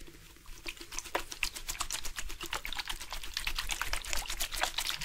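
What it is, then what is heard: Plastic bottle with water inside. A plastic drink bottle with water inside is shaken on purpose, making the water slosh around inside. Quick, irregular splashy clicks and trickling bursts repeat throughout, over a low steady hum.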